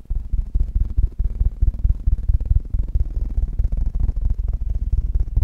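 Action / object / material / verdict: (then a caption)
tap / metal mesh microphone grille / metal mesh / none. Fingertips of both hands rapidly tap the hollow metal mesh grille of a black Blue Yeti microphone. The result is a fast, uneven stream of deep, booming thumps with almost no high end and very little ring after each tap.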